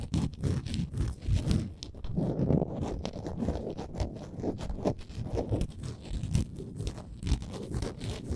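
Long nails scratch the edges of a small, solid, printed wooden Canada souvenir ornament. The result is a steady run of rapid, dry, low-pitched scraping strokes with brief crunchy bursts, mostly dull and deep with little brightness and almost no ring after each stroke.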